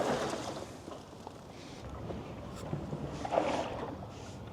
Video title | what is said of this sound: Roofnest Condor Overland: Unbiased Real-World Review | You can hear water sloshing around in this hard lid.